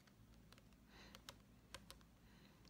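A Japanese paperback novel with a glossy paper cover and a solid stack of pages is held upright in one hand and tapped on the cover with the fingernails. Quiet, sharp, clicky taps come at uneven intervals over a low, steady hum, each fading almost at once.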